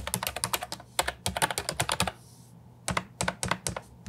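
Fingertips and nails type on an Ajazz 308I compact plastic keyboard with round typewriter-style plastic keycaps, producing quick, bright clicky keystrokes in bursts. A brief pause with a soft hiss breaks the typing midway before the taps resume, with a faint low hum underneath throughout.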